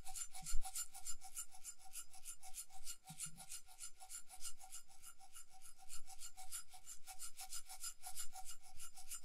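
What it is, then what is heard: Bead-covered metal cup being scratched. Long nails rub and scratch over a small hollow cup with a metal base, covered in glued colourful round beads and held in one hand. The result is a steady stream of quick, bright, raspy scratching strokes with a faint tonal ring underneath. The level stays soft and even throughout.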